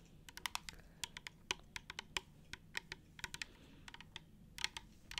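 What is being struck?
Plastic trigger spray bottle.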